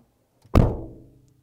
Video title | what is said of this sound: Review: 2012 Subaru Legacy - When The Legacy Lost Its Personality | you shut it and it sounds Hollow